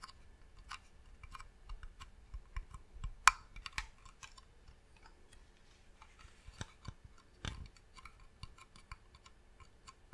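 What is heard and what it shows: Long nails tap on the top and side of a medium hollow varnished wooden box. A quiet, irregular run of short, dry clicks with bright edges is heard, with one sharper, louder tap a third of the way in. Each tap dies away almost instantly, leaving a faint low background between them.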